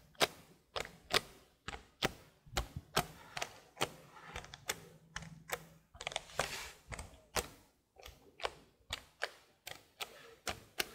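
Long blue nails tap the plastic keys of a detached black plastic laptop keyboard held up by hand. About 27 sharp, bright, dry clicks land at an uneven pace, each dying away almost instantly. A faint low hum sits underneath.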